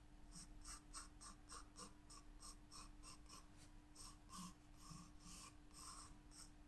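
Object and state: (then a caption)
Pencil sketching on a paper page. A graphite pencil sketches flower outlines on a white paper page of a spiral-bound sketchbook lying flat on a table. The result is a quiet, steady series of short, bright scratching strokes over a faint low, steady hum.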